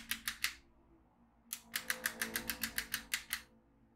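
A yellow magnetic pen is moved along the lines of a black plastic magnetic drawing tablet filled with steel beads, pulling the beads up in quick, bright clicks. Three clicks come first, then a pause of about a second, then a steadier run of twelve. Each click is short and crisp with a high sizzle and almost no low end.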